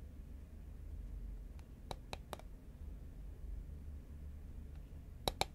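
Fingernails tap the side of a tall cylindrical cardboard Pringles can, made of composite paperboard and held horizontally in both hands. Five short, dry clicks ring out, three close together early and two near the end, each sharp with a bright top. A steady low hum sits underneath.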